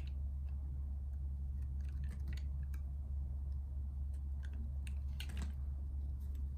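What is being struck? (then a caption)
Solid bar soap cut with a blade. A solid light-blue bar of soap, held in the hand, is carved with a metal box-cutter blade that scrapes and peels off strips. Soft, brief crisp scraping and cutting sounds come and go over a steady low hum.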